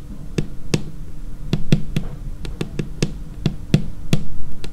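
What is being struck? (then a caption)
Laminated tabletop. Long painted nail tips tap on a large, solid, dark laminated tabletop in a steady close-up series. Each tap gives a short, dry knock with a low thud body around 150 Hz, a brief bright click on top, and almost no ring.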